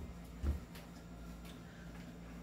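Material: Nothing is struck.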